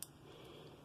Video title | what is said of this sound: Antique Button Collection Information Types of Buttons Part 4 #antiquebuttons #buttons | when you tap it, it sounds a little bit like glass